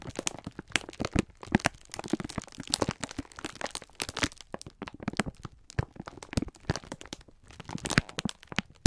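Fingertips squeeze and rub a clear plastic-film pack of sponge scourers held in both hands, crinkling the plastic. The result is a dense, irregular stream of sharp, dry crackles and crunches, each snapping off instantly, with a soft low thump beneath the bright clicks.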